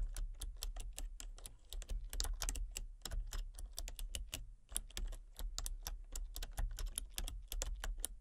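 Fingertips and long painted nails type rapidly on a full-size, backlit plastic RGB computer keyboard with hollow key switches and colour-cycling lights. The result is a steady stream of sharp, bright, clicky key taps that stop almost instantly, over a constant low rumble.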